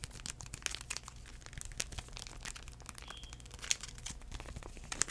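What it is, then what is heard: Paper wipe packet being crinkled. A small, flat white airline sanitizing wipe packet made of paper and foil, filled with a wipe, is held in the hand and tapped and crinkled with the fingertips. The result is a quiet, steady stream of dry, crisp crinkles and light ticks, with a few sharper clicks standing out.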